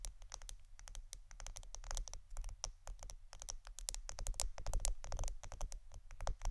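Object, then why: Plastic roll of adhesive tape. A roll of plastic Scotch adhesive tape is tapped and scratched in close-up. Quick, irregular, crisp clicks and light scratches run throughout, with a steady low hum underneath.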